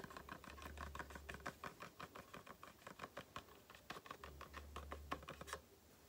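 Long painted nails tap and scratch the front and sides of a small, hollow, closed printed Aloe face-cream cardboard carton. Quick, uneven, dry taps with a hollow papery knock around 1 kHz mix with soft scratching, and each tap dies away almost at once. A low hum rises briefly at the start and again near the end.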